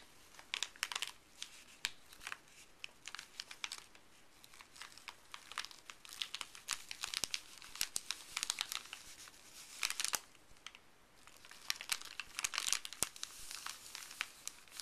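Fuzzy blue gloved fingertips press, rub and crinkle a flat, thin, empty white paper pharmacy bag printed with a Colgate ad, lying on a wooden table. The result is soft, bright, dry crinkling and crackling with almost no low end, in dense short bursts that swell louder around the middle and near the end.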